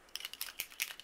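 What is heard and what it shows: A silver flat-tip paint marker is shaken to mix the ink and bring it to the tip, and the ball bearing inside rattles. The result is a quick series of sharp, high-pitched clicks.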